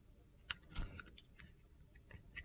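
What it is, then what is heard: Soap bar being shaved with a blade. A utility knife blade makes repeated thin shaving cuts along the side of a solid red-coated soap bar that is yellow inside. Seven short, crisp scraping cuts sound at uneven intervals over a quiet low background hum, each fading almost at once.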